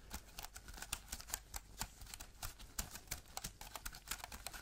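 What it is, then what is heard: Aluminium keyboard with plastic keys. An Apple-style wireless keyboard with a thin aluminium body and white plastic keys is held at an angle and tapped with black-gloved fingertips. A quiet, rapid, uneven series of short, dry, clicky taps sounds bright and crisp, over a faint low hum. Each tap dies away almost instantly.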